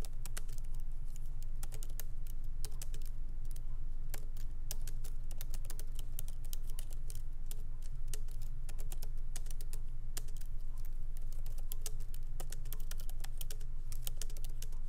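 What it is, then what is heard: Laptop keyboard typing. Fingertips of both hands tap lightly on the black plastic keycaps of a MacBook Pro laptop keyboard, set in an aluminum body on a wooden desk. The result is a steady stream of short, dry, bright clicks over a constant low hum.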